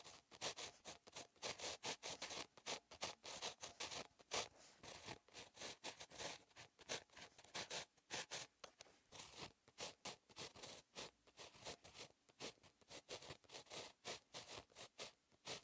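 A ballpoint pen tip, held in the fingers, writes on a lined paper notebook page lying as a solid flat sheet. It makes quick, bright, scratchy strokes in rapid irregular bursts, with short pauses between words and almost no low end. Each stroke stops dry, with no ring.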